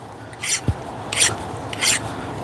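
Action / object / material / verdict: scrape / file scraped across a steel anvil face / steel / hardened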